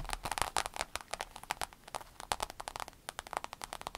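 Long pointed acrylic nails on both hands tap and scratch a rainbow holographic vinyl fanny pack lying flat, soft and hollow. About 27 quick, crisp clicks follow one another with a dry crinkle and almost no ring, centred near 900 Hz with bright edges.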